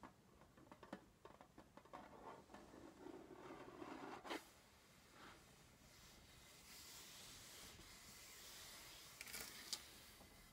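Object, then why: Small embossed metal tin box. Short painted fingernails and fingertips scratch and tap across the embossed lid of a small, hollow, decorated metal Crayola tin, lid closed, resting on a canvas panel. Quiet, bright scratchy rasps and light patters run through the first half, with sharp metallic clicks standing out near the middle and again toward the end. A soft, hissy rubbing fills the stretch in between.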